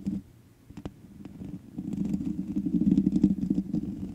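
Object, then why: Metal mesh microphone grille. Long manicured nails of both hands scratch the black metal mesh grille of a large USB condenser microphone with a hollow head. A low, rumbling, gritty scraping centered near 200 Hz starts quietly with a few brief clicks, then grows steadily louder and denser into a busy, rapid scratching texture.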